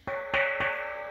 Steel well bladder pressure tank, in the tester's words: Sounds like a hollow bell. It's empty of water.